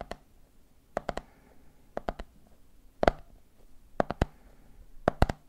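Fingertips tap the red plastic lid of a medium, clear plastic jar full of peanuts while the other hand taps the jar's side. Short, dry clicking taps come in quick groups of three about once a second, each with a hollow, mid-pitched knock that dies away almost at once.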